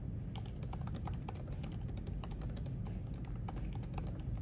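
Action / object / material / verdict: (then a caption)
tap / laptop keyboard with plastic keys / plastic / none. Both hands type steadily with their fingertips on the plastic keys of a silver aluminium MacBook resting on a white library desk. Quick, light clicks and taps patter throughout, set against a constant low background rumble.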